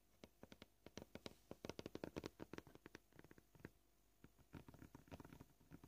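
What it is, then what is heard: Plastic cutting board. Short polished fingernails of both hands tap rapidly on a flat, solid white plastic cutting board. The quick, dry, clicky taps come in bursts of varying pace, with a brief pause midway before the tapping resumes.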